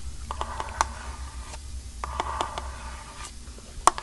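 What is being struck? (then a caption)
Bamboo fiber canister. Long painted nails scratch and tap the sides of a hand-sized, hollow, strawberry-print eco bamboo-fiber canister held upright. Dry scratching bursts with a faint hollow ring around 1 kHz mix with crisp, quickly fading taps, the sharpest near the start and end, over a soft low hum.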